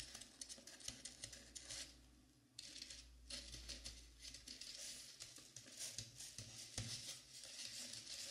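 Long nails on both hands scratch and tap the sides, near the ears, of a life-size, dark blue, velvet-flocked foam mannequin head. The sound is a bright, dry, scratchy patter of quick taps and rubs, easing briefly around two seconds before picking back up. A sharper tap stands out near the end.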